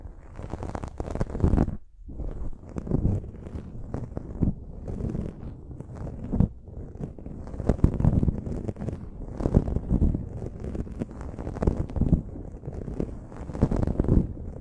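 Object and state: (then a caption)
Foam microphone windscreen being scratched. Long nails and fingers scratch and rub the dark foam windscreen on a silver microphone. The result is a continuous, muffled, low-heavy rustling and scratching with dense crackly textures and almost no bright content, broken by a brief quiet gap around two seconds in.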